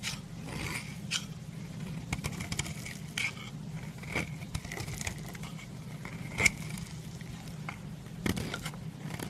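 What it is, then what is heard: Bar soap scraped with a knife. A solid lilac branded bar of soap, held in the hand, is scraped along a steel knife blade, shaving off flaky white curls. Dry, bright scratchy rasps and crisp little clicks sit over a steady low hum, with a faint tone around 2.2 kHz; the louder scrapes stand out near the middle and the end.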